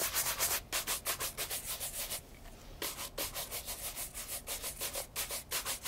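A light brown leather loafer held in hand is brushed with a wooden horsehair shoe brush along the side and upper. Quick, bright bristle swishes repeat at a steady pace, with a short pause in the middle before the brushing resumes.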